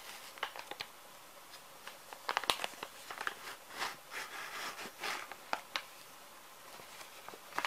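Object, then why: Plastic film wet wipes pouch. Fingers handle the resealable label of a small, full plastic-film wet wipes pouch and crinkle its film. Sharp, bright crackles and snaps come in scattered bursts with longer soft rustling swells in between, over a quiet, thin background with almost no low end. Each crinkle dies away almost instantly.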